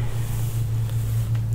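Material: Nothing is struck.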